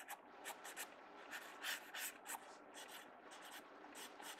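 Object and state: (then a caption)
Pencil strokes on a paper sketchbook page. A mechanical pencil tip scratches short strokes on the page of an open paper sketchbook. The quiet, dry, bright scratching comes in irregular bursts of about three per second, with no low end.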